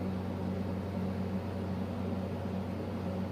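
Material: Nothing is struck.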